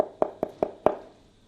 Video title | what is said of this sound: Fixing Tiles That Have A Hollow Sound | hollow right there in the middle you can hear it